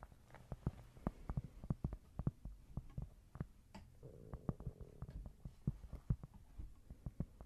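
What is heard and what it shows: A small, thin, solid square cork board is held close and tapped and scratched with long nails. It makes a fast, irregular run of dull, dry, low thuds that die away almost instantly. A brief soft scratching rasp comes in midway through the tapping.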